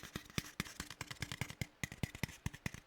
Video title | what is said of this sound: -VOD- ASMR stream -9.5.2026- | It's similar tapping but on a aluminum can.